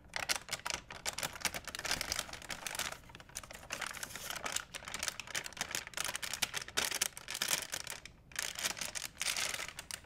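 A large, empty white plastic shopping bag is held up and crinkled with the fingertips, making dense, bright crackling and rustling. The crinkling comes in steady bursts with short quiet gaps.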